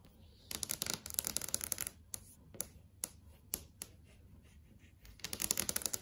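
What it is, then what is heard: LCD TV screen tapped with nails. Fingertips and long acrylic nails tap on the panel of a large flat LCD TV screen. Quick, bright, clicky taps come in dense rattling bursts at the start and end, with a few sharper single taps spaced out in between. Each tap is dry and dies away at once, over a faint low background hum.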